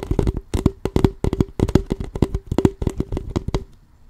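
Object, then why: Thin plastic water bottle. Fingertips and nails tap and scratch the ridged plastic of an empty, crumpled, clear plastic water bottle of about 0.5 L, hollow and with a label, held sideways in both hands. A quick, irregular run of dull, short taps with crinkly scratches carries a faint hollow tone, stopping just before the end.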